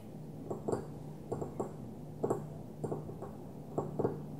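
A small opaque white glass perfume bottle lies on its side and is tapped with the long nails of one hand. A series of short, dry clicky taps, some in quick pairs, each with a faint mid-pitched ring that dies away almost at once. A steady low hum runs underneath.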